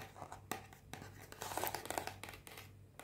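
Long painted fingernails tap and scratch a small white rectangular cardboard perfume box, unwrapped and still closed. Quick, dry clicks mix with bright, papery scratching over a faint steady low hum, each tap fading almost instantly.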